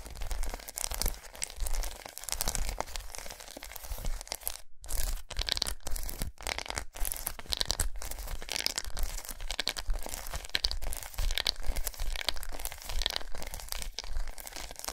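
A large unwrapped solid milk chocolate bar with raised squares, resting on a towel, is tapped and scratched with long nails. The result is a fast, dense stream of dry, crinkly scratches and short, sharp taps with a bright edge, broken by a few brief silent gaps near the middle.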